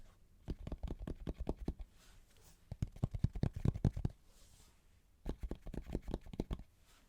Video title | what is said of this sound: ASMR Shoe Collection 👟💤😴- Shoe sounds, tapping and rubbing ( Soft Spoken)[200 Subscriber Special] | it's really nice to like tap on, because it's a sort of softer material, so it's a nice soft material